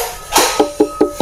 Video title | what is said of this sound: AWAS, Part Kaki-Kaki Paling Berbahaya Bila Rusak, Jangan Abaikan | kayak plastik ini malahan nah ini kalau kita pukul-pukul dia Iya kayak gitu